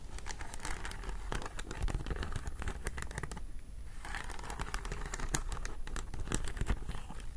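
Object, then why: Beaded bag with faceted glass or acrylic beads. Long nails scratch and tap the faceted glass or acrylic beads of a hollow vintage beaded flower clutch held close up. The result is dense, crinkly scratching scattered with sharp, bright clicks, with a brief softer lull partway through before the steady texture returns.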